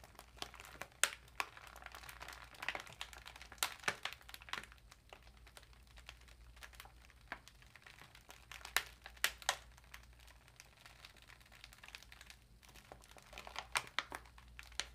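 Fingers and long nails slowly rub and crinkle the folded edge of an empty, foil-lined metallic plastic cat food bag lying flat. Soft, bright crinkles and scattered sharp crackles come and go at a quiet level over a faint, steady low hum, each snap dying away almost instantly.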